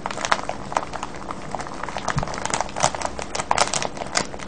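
Both hands cup a small, full, clear crinkly plastic bag of colourful wrapped sweets, with a red wrapper on top, lying on a wooden table beside a pale paper tag, squeezing and rubbing it with the fingertips. A dense, continuous crinkling and crackling is heard, with sharp bright snaps rising out of a steady rustle. The crackles stop dead with almost no ring.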